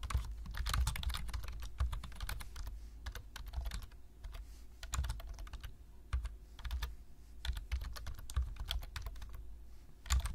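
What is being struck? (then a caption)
Plastic laptop-style keyboard. Fingertips of both hands tap the low-profile keys of a black plastic laptop-style keyboard, typing text in a steady stream of quick, dry clicks with bright, sharp edges. Some keystrokes land louder than others, and each click dies away almost at once over a constant low hum.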